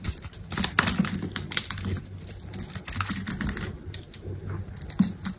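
A metal utility knife blade scrapes and cuts through a solid, grid-scored green bar of dry soap on a table. Quick, dry, crisp clicks and crackles come in rapid bursts over a soft low rumble, with a few sharper snaps along the way. Small cubes are scraped off the bar.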